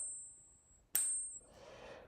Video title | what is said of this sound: Join Surfer as He Celebrates 500 Subscribers: News, Silver Price Action, Stacking. | silver has a distinct vibration and resonance that actually sounds a lot better than regular metal